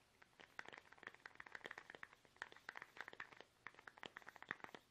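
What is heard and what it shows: A small, soft, hollow plastic toothpaste tube is held upright in both hands while fingertips tap it fast. The result is a quiet, rapid string of dry, clicky taps with a bright, hollow tone and almost no ring after each tap.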